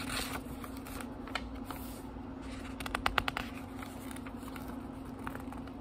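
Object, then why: Thin paper pages of a small book. Fingertips quickly flip the thin paper pages of a small, thick book, making soft, dry rustling with a brief cluster of crisp, papery ticks near the middle. A steady low hum runs underneath throughout.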